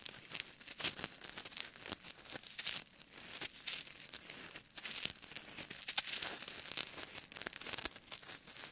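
Fingertips rub, squeeze and scratch small solid white styrofoam balls held in both hands. The result is a dense run of bright, crunchy crinkling and squeaky scraping sounds with almost no low end, each burst stopping dead with no ring.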